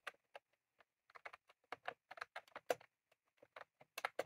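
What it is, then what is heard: Plastic mechanical keyboard being typed on. Both hands type rapidly with their fingertips on a full-size retro-style plastic mechanical keyboard with round cream plastic keycaps and a plastic case, resting on a desk. The result is quiet, crisp, clicky keystrokes in irregular bursts, each dying away almost instantly.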